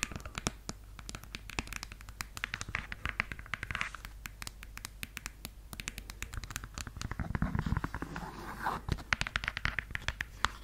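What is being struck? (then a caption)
Suede high-heel shoe. Long yellow nails scratch and tap on a red suede stiletto pump, working over both the suede upper and the insole. The result is a dense run of quick, dry clicks and soft scratchy rasps with a bright edge over a steady low hum. The tapping thickens into a busier cluster of scraping strokes partway through.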